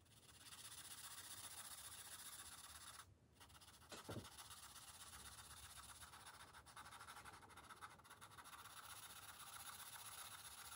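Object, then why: Felt-tip marker on a thin paper page. A green felt-tip marker held in the fingers rubs back and forth across the thin paper page of an open coloring book lying flat on a glass table, colouring in. It makes a continuous, bright, scratchy rubbing with a brief pause around three seconds and a short low knock just after.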